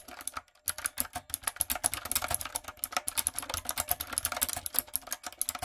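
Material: Plastic.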